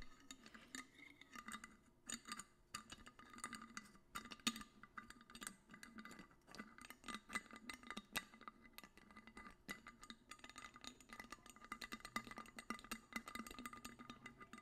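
An empty clear glass bottle, held sideways in the hands, is tapped rapidly and irregularly with the fingernails. It makes a quiet stream of sharp, bright clicks over a faint hollow tone. Each tap dies away almost instantly.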